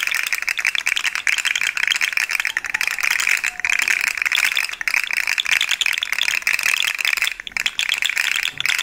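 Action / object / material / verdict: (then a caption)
tap / segmented plastic fidget toy / plastic / none. A yellow and white plastic articulated fidget slug toy with hollow segments is held up in one hand and tapped with long nails, making its segments rattle. The result is a dense, steady stream of bright, dry plastic clicking and rattling with almost no low end, broken only by a few brief pauses.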